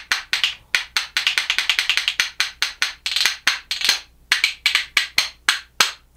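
A pair of reddish, solid makaba birch wood percussion spoons held in one hand is knocked together in rhythm against the hand. It makes quick, dry, bright wooden clacks with almost no ring, in a fast, steady pattern that briefly pauses before continuing.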